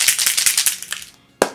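A Kate Somerville Uncomplicated SPF 50 soft-focus makeup setting spray, an aerosol sunscreen can, is shaken before use so the mixing ball inside rattles. About ten quick, bright clicking rattles fade out, followed by a brief pause and one sharp final rattle. This is the normal sound of the can being shaken.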